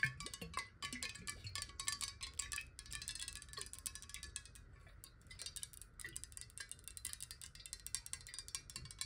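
Long nails tap quickly on the underside and side of a clear glass water bottle that lies nearly horizontal with water inside. A steady stream of bright, clicky taps, each with a brief glassy ring, continues at a quiet level throughout.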